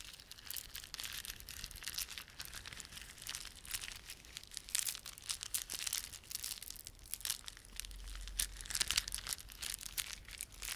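A plastic beaded ornament is rubbed and squeezed by fingertips. It makes a quiet, steady stream of bright, crinkly clicks and crackles, with short louder bursts throughout and a faint low rumble underneath.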